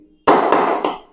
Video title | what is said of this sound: ఫ్లోరింగ్ వేస్తున్నారా అయితే జాగ్రత్తగా ఉండాలి 👷 | లోపల హాలో ఉంది, అంటే లోపల మొత్తం గ్యాప్ ఉందన్నమాట.